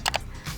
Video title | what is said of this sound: 300ribu Sudah Android TV?? - Review Android TV Box C98 yg Terjual 20 RIBU Unit | Kalau kita ketok kerasa banget plastiknya.